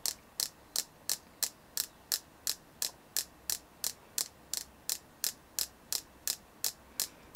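A selenite crystal, bought at a stone shop in Yachats, Oregon, is tapped 22 times at a steady pace of about three taps per second. Each tap is a short, dry, bright click with almost no ring and hardly any low end, over a quiet background.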